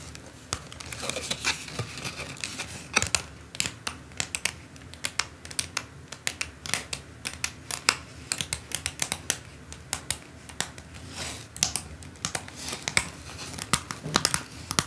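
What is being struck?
Plastic rhinestone sticker sheet on paper card.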